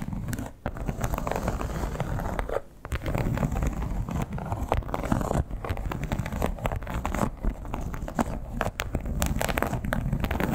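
Long black-tipped acrylic nails scratch and tap across the embossed scales of a large, flat red crocodile-embossed leather clutch or pouch lying on fabric. The clutch is hollow and soft. The result is a dense, continuous stream of crackly scratching and soft, dull taps, mostly low in tone, with brief lulls near the start and just before the three-second mark.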